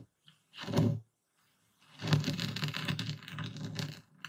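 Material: Salt crystals.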